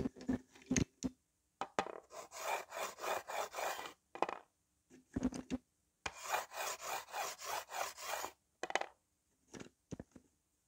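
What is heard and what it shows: A white slate pencil, held on its side under fingertips, is rubbed back and forth across a small, flat, solid green-framed slate writing board, with a few other pencils lying still at its edge. Two long runs of dry, gritty rasping strokes fill the middle of the clip, separated and framed by short, sharp ticks and brief scrapes.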